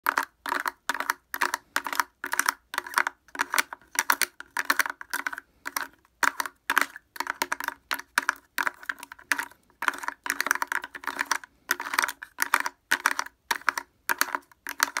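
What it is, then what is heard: Plastic portable speaker. A small blue plastic portable speaker with a hollow housing and a plastic grille over the cone is tapped fast with wooden clothespins clipped onto the fingertips, and the clothespins may also clack against each other. Rapid bursts of short, dry clicks come in quick clusters with almost no ring, centred around 1.5 kHz with hollow midrange tones and no low end.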